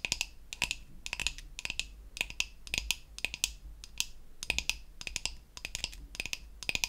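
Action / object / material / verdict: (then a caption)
tap / painted wooden toy facial brush / painted wood / none. Long acrylic nails tap and scratch around the button and handle of a flat, solid, pink-painted wooden toy facial cleansing brush. The result is quick, irregular clusters of sharp, dry clicks with a bright tone near 2.5 kHz and almost no ring, over a faint low hum.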